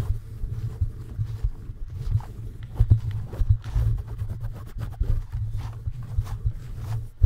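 Fingertips of both hands tap and scratch the red-lit, perforated metal mesh grille of a bare microphone on a stand. The contact comes through as a close, muffled stream of deep, low thumps and rumbling scrapes centred around 105 Hz, with short, irregular louder knocks and almost no bright content.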